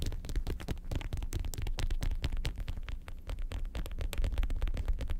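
Long pointed acrylic nails rapidly tap and scratch the smooth leather panels of a medium red leather (likely faux) lobster-shaped handbag with gold studs, hollow and empty or lightly filled, and flip it from back to front. The result is a dense, continuous stream of soft, quick, muffled thumps that sit almost entirely in the low range, with brief brushing scratches between them and almost no brightness. The level stays steady throughout.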